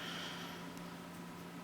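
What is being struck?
Nothing is struck.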